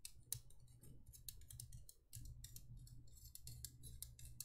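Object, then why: Thin embossed metal candle holder. An empty, small hollow cylindrical candle holder of thin embossed copper-toned metal with a swirl pattern and cutouts is held in both hands and tapped and scratched with long painted nails. Quick, bright, dry clicks and scratchy ticks come in a dense run over a steady low rumble, with a brief quieter dip near the two-second mark.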